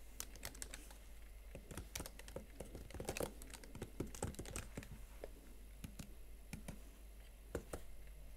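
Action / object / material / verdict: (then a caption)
tap / plastic laptop keys on a metal body / plastic / none. Fingertips with long nails type on the plastic keys of a Huawei MateBook X Pro laptop keyboard set in a metal body. Quick, sharp, clicky taps come in an irregular stream over a steady low hum.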